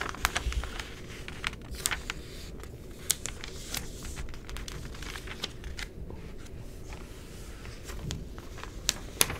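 Fingertips turn and smooth the thin glossy pages of an open Essence magazine lying flat on a dark table. Crisp, bright paper snaps and crinkles from page flips stand out over a steady, soft rubbing hiss and a faint low rumble. The flips are short and dry, with no ring after each one.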